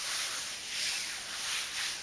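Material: Nothing is struck.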